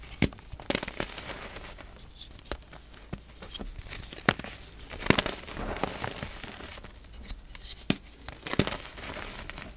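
Fingers squeeze and snap small, solid pieces of pink pressed gym chalk apart above a bed of chalk powder, letting crumbs fall. Sharp, dry cracks and crunches stand out over a steady crumbly crackle and hiss of falling bits. Each snap stops short, with no ring.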